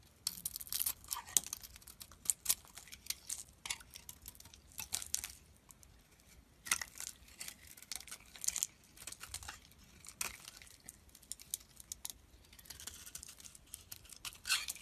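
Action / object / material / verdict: scrape / bar of soap shaved with a metal blade / soap / none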